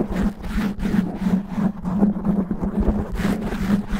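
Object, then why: Foam microphone windscreen. Natural fingernails on both hands scratch fast and roughly over the sides and top of a black foam windscreen covering a microphone head. The result is a dense, continuous rasping rumble, heavy in the low end with a steady hum near 200 Hz and quick bursts of brighter scratching.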